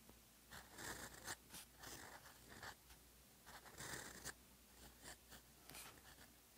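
A gold-nibbed fountain pen writes Korean characters by hand on a thin, solid sheet of red-gridded paper lying on a desk, in continuous strokes with lifts between them. Short bursts of dry, bright nib scratching, centered around 1.8 kHz, come and go irregularly over a faint, steady low hum.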